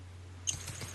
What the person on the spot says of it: the new PCV clicks and sounds good